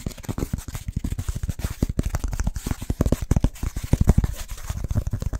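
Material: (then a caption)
Pressed wood fiber. A flat, solid, scored brown BBQ firelighter slab of pressed wood fiber is tapped and scratched fast with fingertips and nails. About thirty dull, low thuds come in a rapid, uneven run, each dying almost instantly, with a faint dry scratching between them.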